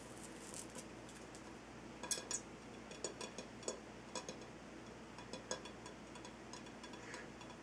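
A ringed hand taps and scratches with fingertips and nails on the side of a large, solid, lit Himalayan salt rock lamp. Quiet, steady scratchy hiss is broken by scattered short, bright clicks and taps that die away almost instantly.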